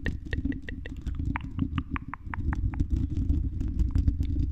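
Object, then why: Metal mesh microphone grille tapped with fingernails. Long red nails scratch and tap the silver mesh metal grille of a condenser microphone's hollow dome. A dense, low rumbling scrape runs throughout, dotted with quick clicks and short ringing metallic pings that fade almost at once.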